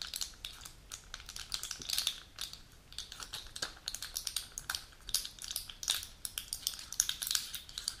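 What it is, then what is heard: Full plastic and foil blister pack. Long natural nails tap and click on a full plastic-and-foil pill blister sheet with plastic pockets, then lift and handle it. The result is a rapid stream of crisp, bright clicks with faint crinkling, each dying almost instantly, with very little low end.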